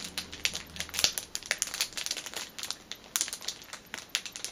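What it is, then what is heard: Cellophane-wrapped package, crinkled and tapped. Long painted nails and fingertips scratch and tap the thin clear plastic cellophane sleeve sealing a flat orange fitness band lying on a fabric cushion, then press along one edge. A rapid run of short, dry, bright crinkles, crackles and tapping clicks comes through at a quiet level with almost no low end.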